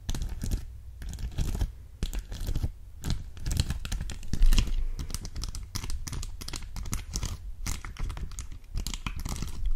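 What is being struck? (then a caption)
Plastic sheet of acrylic gem stickers. A clear plastic sheet of heart-shaped acrylic gem stickers is held up close and tapped and scratched over the gems with long acrylic nails. Dense, rapid clicking and scratchy crinkling run throughout, with a strong low rumble underneath.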